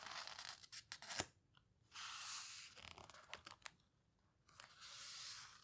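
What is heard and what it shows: An open paper photo book has its pages turned, then pressed and rubbed by fingertips with long nails. Bursts of sharp, bright paper ticks and crinkles alternate with longer, steady, hissy rubbing swells, separated by near-silent pauses. The sound is mostly high and crisp, with almost no low end.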